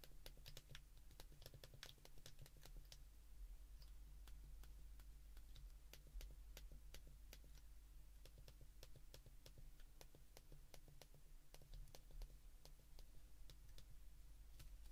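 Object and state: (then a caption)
Plastic flip phone keypad buttons. Thumbs press the keys of a handheld white plastic flip phone, producing a rapid, irregular stream of short, sharp, bright clicks. A steady low hum runs underneath throughout.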